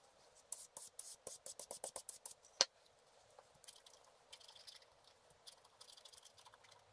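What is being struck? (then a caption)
Black-coated scratch art card scratched with a wooden stylus. A wooden stylus slowly scratches a black-coated scratch art card lying flat. A run of short, dry, bright strokes builds to one sharper, louder scrape, then gives way to quieter, denser scratching with no low end. The card's surface rasps thin and airy under the tip.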